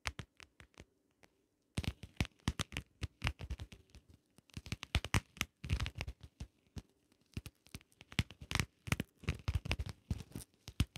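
Long nails tap and scratch over a small, closed, hollow shell-shaped compact case covered in ridged holographic vinyl. Quick, dry clicks and scratchy rasps come in dense, uneven bursts after a brief quiet gap near the start. The hits are bright and die away at once with no ring.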